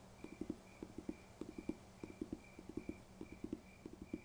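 Fingers tap on a paper textbook in quick, uneven bursts, producing soft, dry, low thuds that stop almost instantly. A faint, quiet tone can be heard underneath.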